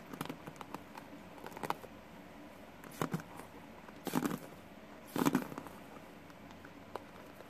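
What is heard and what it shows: Fingertips and nails brush and scratch across the pin bristles of a green plastic paddle hairbrush. Soft, crackly scratching patters come in short, irregular bursts over a quiet background, with the two loudest, fullest scrapes near the middle of the clip.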